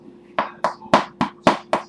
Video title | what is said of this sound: home made bread.wmv | should sound hollow. I guess it sounds hollow.